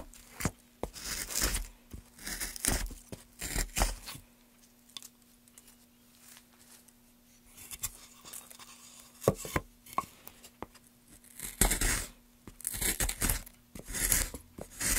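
A gloved hand carves along the grain of a solid pale softwood board with a gouge. Bursts of bright, rasping, tearing cuts alternate with sharp clicks and quieter pauses, over a faint steady low hum.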